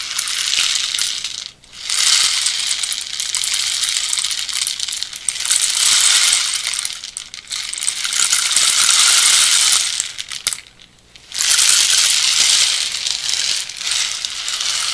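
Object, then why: Bamboo rain stick with pellets inside. A hand tilts and turns a red-painted hollow bamboo rain stick with carved bands, making the pellets inside trickle and rattle. The result is a continuous, bright, hissing patter that swells and fades, with brief near-silent gaps around 1.5 seconds and 11 seconds as the stick is turned over and the flow restarts.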